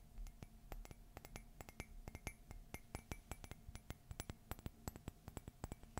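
A white glossy ceramic Mickey and Minnie Christmas coffee mug, hollow and empty, is tapped on its side with fingernails. The result is a quick, uneven series of short, sharp clicks and clinks with a bright edge and a faint ring around 2 kHz that dies away almost instantly.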